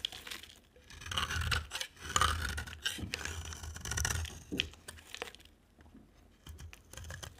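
A box cutter blade scrapes and carves the face of a dry, solid orange and purple soap bar held in hand. Repeated dry, crumbly scraping strokes come in uneven bursts with bright crackle and soft low thumps, louder in the first half and fading to quieter, lighter scrapes toward the end.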